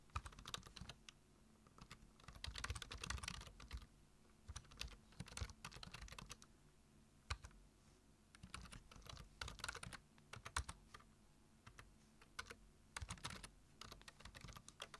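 Fingertips type on a black plastic computer keyboard, tapping the keys in quick bursts of sharp, bright clicks with short pauses between them. The clicks die away almost at once over a faint low hum.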